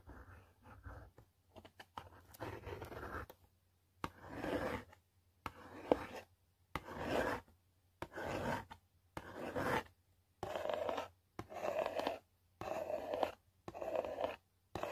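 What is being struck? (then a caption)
Cardboard box. Long pointed nails scratch and trace across the surface of a yellow cardboard product box, with one or two nails at work. Quiet, dry rasping strokes come in separate bursts of about a second each with short silences between, their scratchy texture centered in the mid-range.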